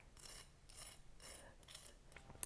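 A fork is scraped back and forth across the surface of a homemade, golden-brown, pan-fried grated potato hash brown to show how crispy it is. The result is a series of dry, raspy, bright scraping strokes with a hissy high edge. The hash brown sounds crisp.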